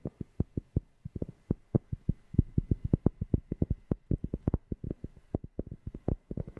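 A cork object is tapped close to a FIFINE K690 microphone in a rapid, uneven series of about 40 short taps. Each tap gives a deep, bassy, dull thump centered low in pitch, dying out almost instantly with no ring.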